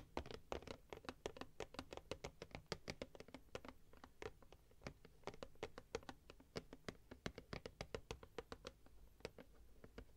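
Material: Cardboard.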